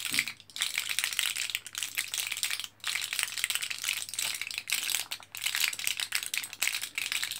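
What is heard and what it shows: Fingertips press and rattle the capsules inside an orange plastic-and-foil blister card held in both hands, foil side up. The result is a dense, bright crackle of tiny plastic clicks and foil rustling with almost no low end, broken by a few brief lulls.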